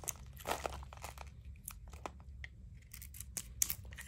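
A utility knife blade shaves and scrapes thin, crunchy curls from the surface of a solid blue dry soap bar held in the palm. The result is a quiet series of short, dry, crackling scrapes with bright, crisp edges over a faint low rumble.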